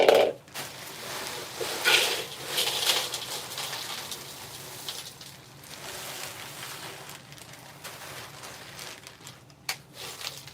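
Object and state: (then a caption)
Hard, deep-frozen ice cubes. Ice cubes kept 3 or 4 days in a deep freezer, very cold and hard, are poured into a salad bowl. They make a bright, glassy clinking and rattling that peaks loudly at the start and then settles into a lighter, scattered tinkling. The ice sounds almost like glass because it is so cold and hard.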